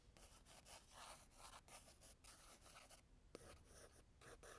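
A blue graphite pencil held in the fingers scratches and hatches lines across the tan toned paper of a spiral-bound sketchbook lying flat on a desk. The sound is a quiet, dry, brushy scratching in repeated short strokes with bright, airy texture, broken by a brief pause and a sharp tap near the end.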